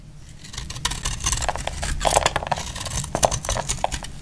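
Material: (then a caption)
Soap. A hand-held, solid, cream-colored 72% laundry soap bar, dry and hard, is shaved with a utility knife blade into crumbly flakes. Repeated dry, crackly scraping and cutting strokes are heard, with bright, gritty bursts over a low rumble. The strokes grow louder after the first second.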